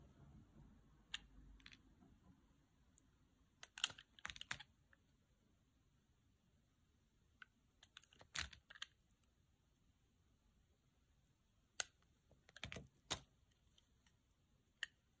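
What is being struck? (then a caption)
Bar soap cut with a knife. A utility knife slices and scrapes the dry surface of a solid pale green bar of soap held in the hand. Sharp, bright crackling snaps and scratchy clicks arrive in short scattered bursts with near silence between them, each dying away almost instantly.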